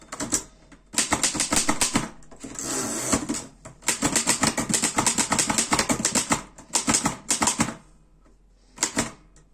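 Fingertips type on the keys of a black metal Erika 5 portable typewriter, producing rapid bursts of sharp, bright clacks separated by short pauses. A brief steadier rasping stretch interrupts the typing, which then resumes in quick runs before ending in a final short burst.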